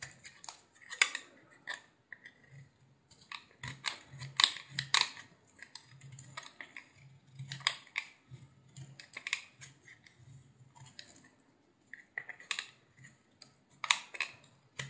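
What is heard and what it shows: A utility knife shaves thick curls from a solid, hand-sized yellow bar of soap with a blue rim. Each stroke gives a crisp, bright scraping crackle that fades almost at once. Irregular bursts of cutting are separated by short quiet gaps.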